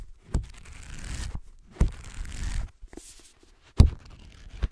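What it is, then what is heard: Paperback book. Fingernails scratch and tap the cover and cream page block of a solid, black-covered paperback book held upright. Sharp, dull taps stand out between longer stretches of dry, rasping scratching, with brief near-silent pauses.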